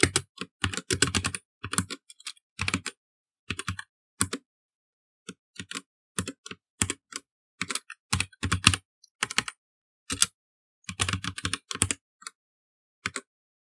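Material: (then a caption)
Plastic. Both hands type continuously with their fingertips on a black plastic mechanical computer keyboard. Bursts of sharp, bright key clicks with a light low thud come in quick runs and pauses. The rapid clacks die away almost instantly.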